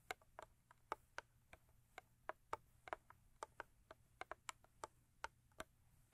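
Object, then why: Thin cardboard box tapped with fingernails. Long acrylic nails tap rhythmically on the sides of a thin cardboard Crest toothpaste box. About 20 short, dry, hollow clicks sound in quick succession, centered near 900 Hz with a bright edge, each dying away almost instantly over a quiet background.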